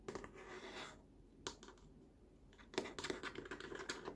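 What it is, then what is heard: Plastic baby walker tray. Fingertips and short nails tap and scratch the underside of a large, hollow, molded green plastic tray edge on a baby walker, near the logo. Quiet, irregular clicks and dry scraping rustles come through with a light hollow plastic tone, each tap dying away almost instantly.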